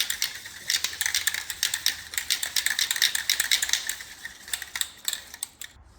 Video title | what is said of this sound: Cybertruck core wheel install and hub rust removal | you want to shake it until you hear the ball rattling inside